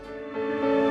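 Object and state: Nothing is struck.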